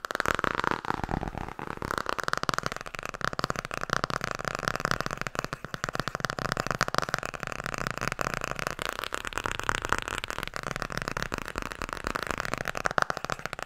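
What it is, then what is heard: Hardcover book. Fast fingertip-style tapping on the hardcover book "Tarot" produces a continuous stream of short, dry, clicky taps. The taps are rapid and even, with no ring after each one.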